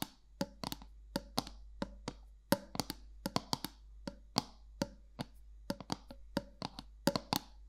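Long nails tap the flat top of a round gold metal lid on a black candle jar, 27 quick, sharp clicks in an uneven rhythm. Each tap is a bright, dry tick with a short metallic ring around 250 Hz that dies away almost at once, over a low steady hum.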